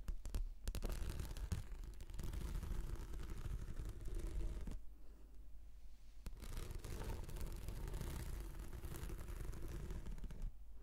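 Long nails scratch a rolled, translucent, textured plastic anti-slip mat shaped into a hollow tube. The result is a steady, low, rumbling scrape with faint brighter rasps on top. It eases into a quieter stretch midway before resuming at full strength.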